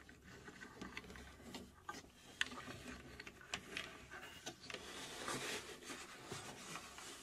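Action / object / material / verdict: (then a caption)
tap / plywood puzzle box / plywood / none. Long nails tap and scratch across the front panel and dial area of a hollow, laser-cut plywood puzzle safe cube. The result is a quiet, steady stream of crisp, dry clicks that die away at once, over a bright, papery scratching texture with little low end.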